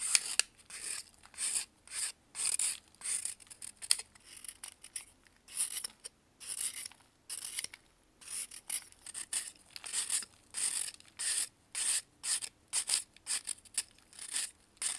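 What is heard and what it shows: A metal knife shaves and scrapes a solid white pressed baking soda block held in blue gloves. About 25 short, dry, bright scraping strokes come one after another with brief silences between them. The sound is quiet and hissy, with almost no low end and no ringing after each stroke.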